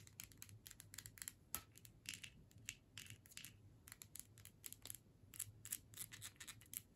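Long nails tap and scratch on a hand-sized clear plastic tube with a paper label and a metal screw cap, filled with scented sticks and held in the hands. Quick, bright, crisp taps and scratchy strokes come in rapid bursts, each dying out almost at once, over a faint low hum.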